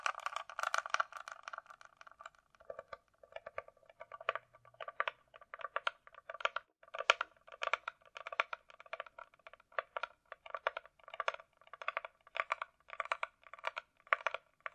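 Long nails tap rapidly on a closed, hollow hard-shell glasses case with a glossy coated shell, likely plastic, resting on a rug. The taps come in steady bursts of bright, clicky ticks with a hollow midrange ring. A denser, smeared wash of taps opens the clip before the rhythm settles.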